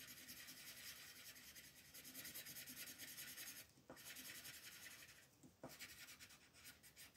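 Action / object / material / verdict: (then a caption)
scrape / wooden colored pencil on paper / paper / none. A pink wooden colored pencil, held by fingertips with long nails, rubs back and forth across a flat white paper coloring page to shade a flower bud. The quiet, bright, scratchy strokes repeat in a steady rhythm, broken by two short pauses before the shading resumes.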